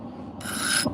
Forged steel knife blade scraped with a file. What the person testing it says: the file kind of skates off